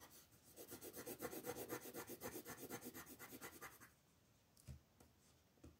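The wooden tip of a colored pencil rubs rapidly back and forth across a flat paper coloring book page on a table to shade it, while the other hand, with long nails, holds the page. The result is a steady, even run of dry, scratchy strokes for about four seconds. The rubbing then stops, leaving near-silence broken by a couple of soft taps.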